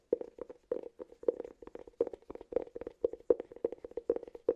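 Fingertips and short nails tap and scratch the side and rim of a round, hollow, palm-sized cork cylinder held close to the mic. The result is a rapid, uneven run of short, dry taps with a hollow, woody tone around 470 Hz and almost no ring after each hit.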